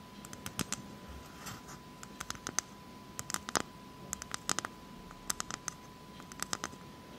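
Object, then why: Whole coconut shell tapped and scratched with long acrylic nails. Long acrylic nails tap and scratch the hard, fibrous shell of a whole, hairy, hand-sized brown coconut. The result is a quick, irregular series of sharp, dry, bright clicks that die instantly, with soft scratchy rustling between them. A faint steady tone sits beneath throughout.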